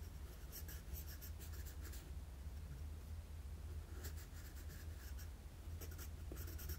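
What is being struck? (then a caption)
Graphite pencil on a sheet of drawing paper. A wooden graphite pencil makes sketching strokes on a flat sheet of drawing paper. Short, dry scratchy strokes come in bright bursts of texture over a steady low hum, in clusters near the start, middle and end.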